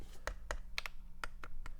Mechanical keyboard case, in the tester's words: if i tap this it sounds dead